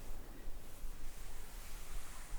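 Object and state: Nothing is struck.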